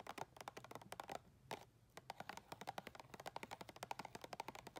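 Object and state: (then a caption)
Clear plastic tub. Long red nails tap quickly on the side wall and ridged rim of a round clear plastic tub full of white soft items. About 28 short, dry, clicky taps with a hollow mid-range tone and almost no ring come in fast bursts, with a brief pause in the middle.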